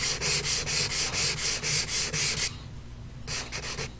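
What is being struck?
Pastel stick rubbed on a paper sheet.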